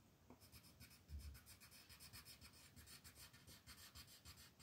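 A dark green colored pencil is rubbed in fast shading strokes across a white paper mandala coloring page. The strokes make dense, rhythmic scratching with a bright, papery hiss on top and a soft low rumble underneath, each stroke pulsing quickly after the next.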